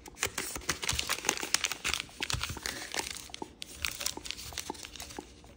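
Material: Paper.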